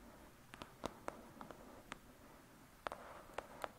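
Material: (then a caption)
Paper. Long pointed nails tap and scratch on the paper front cover of a thick paperback novel with a solid block of pages. About ten quiet, sharp, dry clicks land at uneven intervals over a soft hiss, each stopping almost instantly with no ring.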